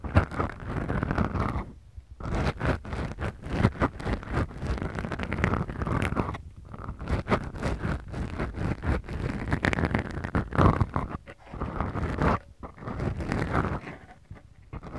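Long glittery manicured nails of both hands slowly scratch two small black foam windscreens on the mic capsules of a Tascam DR-40X recorder. The result is a dense, low, rumbling scratching and scraping, close and muffled, with a rapid texture of tiny strokes. It pauses briefly a few times before resuming.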